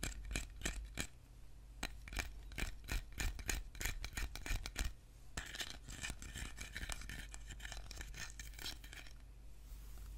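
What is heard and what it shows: Fingernails tap and scratch on a small, short, closed metal tin can of preserves that appears full and carries a red paper label, with the can held in one hand while the other hand's nails work over the label and the metal lid. Quick, irregular clicky taps with a faint metallic tick come first, then a denser stretch of papery scratching mixed with more taps, over a steady low hum.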